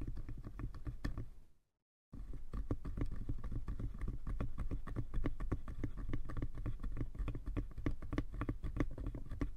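Fingertips and nails tap rapidly on both sides of a small, hollow, light wooden box with a brass clasp. The result is a quick, uneven patter of short, dry knocks, mostly low and hollow with light clicky edges, and each tap dies away almost at once. The tapping briefly stops for about half a second of silence near the two-second mark, then resumes steadily until the end.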